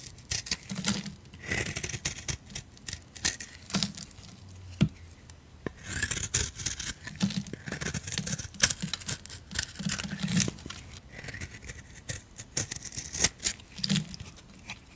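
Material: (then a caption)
Soap. A solid oval peach bar of soap is held in the hand and scraped with a blade. The blade makes a steady run of dry, bright rasping strokes with quick crisp clicks and soft low thuds, pausing briefly between passes.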